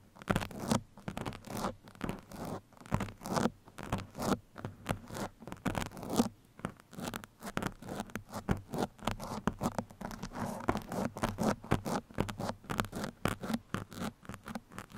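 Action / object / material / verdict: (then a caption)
scrape / foam microphone windscreen / foam / none. A black foam microphone windscreen is scratched with two metal pins held in the fingertips, producing a rapid series of short, dry scratching strokes. Each stroke is quick and papery with a soft low-mid body, repeating steadily in uneven bursts throughout.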